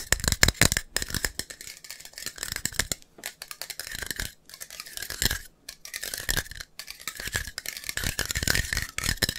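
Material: Metal.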